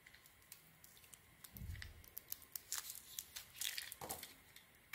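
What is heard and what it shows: A metal blade shaves the pink sequin coating and chunks off a solid cream bar of soap held in the hands. It makes a series of crisp, bright scraping and crackling cuts, with a brief duller rumble near the start, as pieces flake away.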